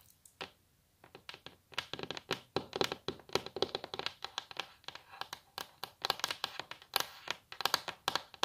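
Long natural nails of both hands tap and scratch a flat, solid, glossy wooden tabletop, possibly laminate. Quick, dry clicks come in uneven clusters mixed with brief scratching. Each tap is bright and crisp with almost no ring, and there is very little low-end weight.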